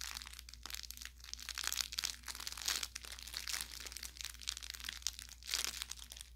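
A hand grips and squeezes the tapered lower end of an orange velour plush carrot toy with crinkle filling, crinkling the inside. Bright, crackling crinkles come in repeated rustling bursts over a faint steady low hum.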